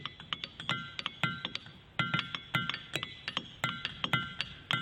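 A diabase boulder at Ringing Rocks park is struck repeatedly with a hammer in a quick, uneven rhythm. Each strike gives a sharp, bright metallic ping with a short ring and a dull low thud beneath it. The rock sounds two different tones.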